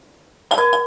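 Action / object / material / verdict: drop / glass bowl hit by a thrown chestnut / glass / none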